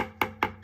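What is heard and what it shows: A leather-hard clay pot is tapped on its base at the start of trimming, giving three short, dull knocks that die away almost at once with a woody midrange tone. The dull sound, with no vibration felt at the thumb, shows the wall is still thick.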